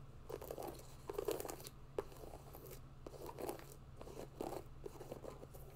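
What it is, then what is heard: Mesh and synthetic hiking sneaker. Long nails scratch and tap the upper and laces of a grey mesh and synthetic hiking sneaker held in the hands, giving soft, dry, crunchy scrapes and short taps. The sounds come in uneven bursts over a steady low hum.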